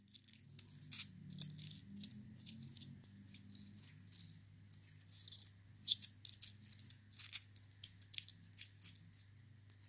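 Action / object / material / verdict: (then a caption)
shake / small metal coins / metal / none. Two small silver-colored metal coins are rattled and clinked together between the fingers of a cupped hand. Quick, bright metallic clicks and jingles come in uneven bursts over a faint low hum, each tick dying away almost instantly.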